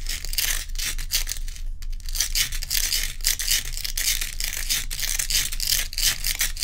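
Long pointed nails quickly scratch the frosted top surface of a large, solid, round ice block. The result is a dense run of bright, gritty scraping strokes with short gaps, over a steady low hum.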